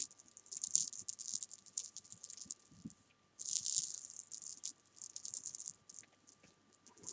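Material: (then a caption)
Sugar candy. Small solid jelly bean candies are scooped and rolled by hand and fingernails on fabric, making a rattle. Bright, dry, tightly clustered clicks come in busy bursts with a short silent gap just after the three-second mark. A faint steady tone runs underneath.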